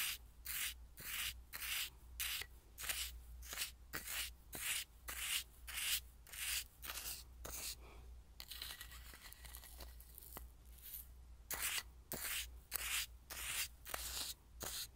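A wooden spoon stirs and scrapes coarse salt in a small clear glass bowl, which is partly full. The sound is a gritty, bright rubbing that comes in quick, rhythmic strokes with short pauses between them. A low, steady hum sits underneath throughout.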